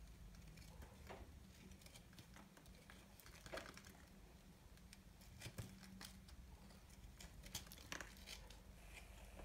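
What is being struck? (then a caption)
Bar soap cut with a small knife. A solid, dry, multicolored soap ball is gripped in the hand and cut and scraped with a small knife. It makes crisp, crackly scraping and crumbly clicking sounds with bright, short snaps, over a steady low hum.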